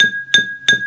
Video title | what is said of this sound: Sound 1- Learning about Pitch and Tuning | this one is the lowest sound